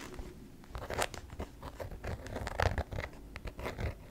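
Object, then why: Clear PVC vinyl handbag. A hollow, medium-sized translucent pink PVC Barbie rainbow handbag of clear pink vinyl is crinkled, tapped and scratched with long nails. Dense, crackly plastic crinkling mixes with short dull taps and scratchy bursts, with much of the energy low and brief brighter flashes on the sharper moments. Each sound dies away almost instantly, with no ring.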